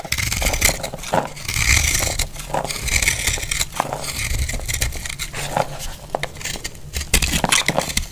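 A solid, rounded, dry blue-purple marbled soap held in the hand is shaved with a utility blade, and flakes crack off with each stroke. Repeated bright, crackly cutting scrapes with short, dry snaps carry a strong tone near 2 kHz over a low rumble.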